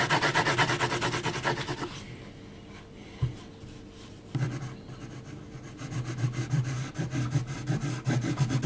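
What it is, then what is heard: Pencil hatching on textured paper. A graphite pencil hatches across a flat sheet of heavy, textured mixed media paper, making quick, scratchy rasping strokes. The brisk strokes fade into softer, slower scraping partway through, then pick up again in a steady rhythm by the end.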